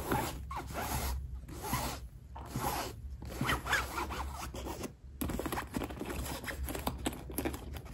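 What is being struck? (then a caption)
Nylon fabric backpack with zipper pulls. Long acrylic nails and fingertips tap and scratch a medium black nylon fabric backpack hanging on a hook, working over the hollow, soft fabric, its zipper pulls and its front pocket. The result is a dense run of rough, zipper-like scratching and soft taps with a bright edge, broken by brief quiet gaps, over a steady low hum.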